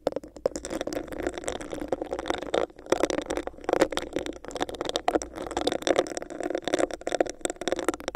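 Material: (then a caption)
Plastic. Long nails scratch and tap a hollow, clear, bumpy plastic cup held over the microphone. The result is a dense, continuous stream of hollow, crackly scratching and quick taps, centred in the low mids with some bright edges, rising and falling in close bursts.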